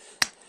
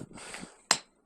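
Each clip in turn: First: embedded rock, dull, no ring. Second: embedded rock, dull with no ring.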